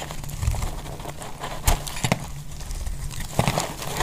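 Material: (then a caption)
Soap. A metal utility knife blade shaves and scrapes a solid, dry, pink rectangular bar of soap held in one hand with long glittery nails, while the shavings pile up below. The sound is a steady, low, crumbly scraping with dry crackles and a few sharper, bright ticks as the blade bites into the soap.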